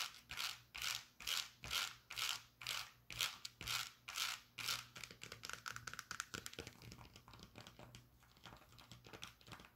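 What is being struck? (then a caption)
Suede-strap sandal with cork footbed and rubber sole. Long nails scratch and tap a brown suede-strap Birkenstock sandal with a cork footbed and rubber sole, working over the suede strap and the sole. Slow, steady, bright brushing strokes give way halfway through to quicker, denser, lighter scratches and taps.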